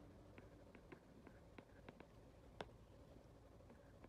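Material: Glass.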